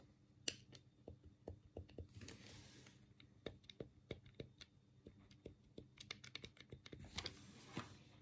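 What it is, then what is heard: Plastic game controller buttons clicking. A black hollow plastic Sega Mega Drive control pad is held in both hands while the thumbs press and click the D-pad and the A, B and C buttons. About seventeen short, dry plastic clicks with bright tops sound in a quiet, close space. Two longer bursts of soft scratchy rustling from handling the pad break up the clicks.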